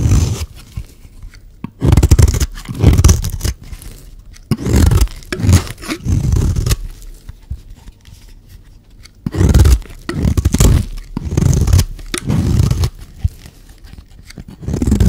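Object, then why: Bar of soap scraped with a metal blade. A solid, hand-sized rectangular bar of dry green soap, held in one hand, is shaved and scraped with a metal blade, curling off flakes onto a pile of shavings below. Repeated bursts of low, rough scraping rise and fall with quiet gaps between strokes, each pass a dry, deep rasp.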